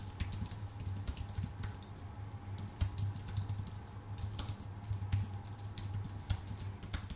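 A full-size white Apple Magic Keyboard with numpad, with a thin aluminium base and plastic keycaps, sits on a dark desk and is typed on rapidly with the fingertips of both hands. Quick, light key taps click in an uneven stream over a steady low hum, each tap short and dry with bright clicky edges.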